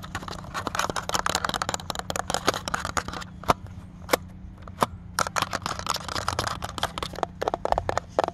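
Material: Plastic.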